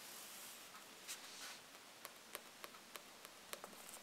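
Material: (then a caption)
Paper, card. Long painted nails and fingertips scratch and tap across the glossy card cover of a thick paperback Harry Potter book, a solid paper block lying flat and then held upright on a table. A soft, bright rustling scrape comes first, followed by a series of quiet, sharp, clicky nail taps with almost no low end.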